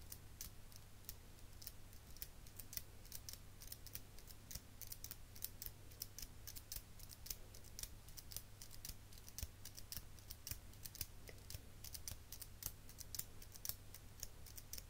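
A chrome metal eyelash curler is squeezed open and shut by fingers with long pink nails, making a rapid, steady stream of short, bright metallic clicks over about 15 seconds. The clicks are crisp and die away almost instantly, over a constant low hum.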